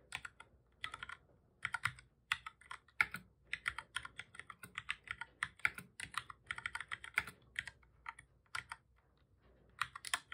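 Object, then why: Plastic computer keyboard. Fingertips of both hands type on a black full-size plastic computer keyboard, making rapid bursts of bright, dry key clicks with short pauses between. Each press ends almost at once, with most of the sound around 2 kHz and above. A longer lull near the end comes before a final cluster of keystrokes.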